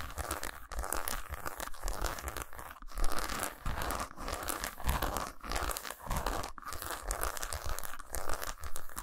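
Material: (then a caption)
Chocolate. Long pointed nails scratch and tap quickly across a solid milk chocolate bar lying lengthwise on a towel. A dense, continuous run of dry crinkly scratches and short clicks repeats in rapid bursts, with a soft low thump underneath.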